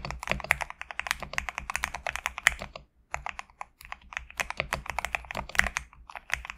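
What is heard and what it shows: A compact GMK67 mechanical keyboard with PBT plastic keycaps, resting on a desk mat, is typed on with fingertips in rapid bursts of short, crisp clicks and clacks. The keystrokes have a bright, snappy sound, with a brief pause just before the three-second mark before the typing resumes.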